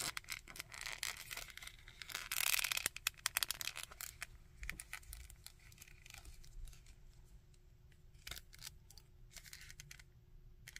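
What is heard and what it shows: Fingernails scratch the coat and tap the head of a small plastic Red Skull action figure, and fingertips click its joints. Bright, dry scratching and crinkly rasps build in the first few seconds, followed by scattered sharp clicks and light taps over a faint steady hum.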